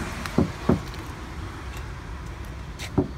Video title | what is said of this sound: P T Cruiser for sale | You can hear the Bondo when you tap on it. You know, it has sort of like a dead sound.